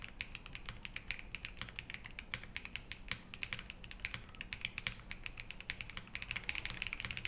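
Both hands type continuously with their fingertips on a compact 65% Think6.5 v3 mechanical keyboard with a black metal case, Harmony switches on an FR4 plate, and white ABS keycaps, resting on a wooden desk. Rapid, crisp keystrokes give short, bright clicks centred around 2.3 kHz with almost no ring, over a faint low hum.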